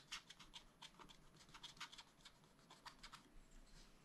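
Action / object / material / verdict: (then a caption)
scrape / wax-coated scratch-art paper sheet scraped with a wooden stylus / coated paper / none. A wooden stylus is drawn in long strokes across a black wax-coated scratch-art sheet in a spiral-bound pad. About fifteen quiet, bright scratches follow one another, each short and crisp with a dry high rasp and little low end.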